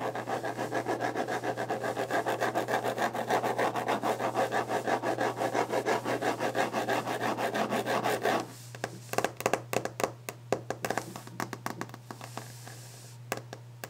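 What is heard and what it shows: A wooden desk surface is scratched and rubbed quickly and aggressively, making a dense, continuous rasping sound for about eight seconds. The scratching then stops and gives way to fast, sharp, dry taps on the desk with short pauses between them. A low, steady hum runs underneath throughout.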